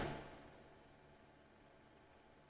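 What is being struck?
Nothing is struck.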